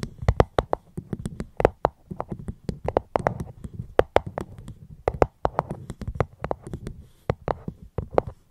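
A fruit box is held close to a microphone and tapped gently, giving a quick, uneven run of short, dry taps. Each tap has a soft low thump and a bright click that stops almost at once. Faint rustling fills the brief gaps between taps.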